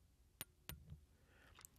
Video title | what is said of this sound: Montblanc Rouge et Noir Baby - Special Edition Pocket Fountain Pen - Review by Pen and Gadget | when you tap these two together you can hear that these are indeed metal